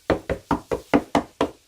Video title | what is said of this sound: Making a bay window part 2 of 3 | if it sounds hollow, that's not good. In this case it doesn't.